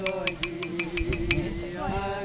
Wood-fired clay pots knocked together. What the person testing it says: Вся робота дзвенить вона не глуха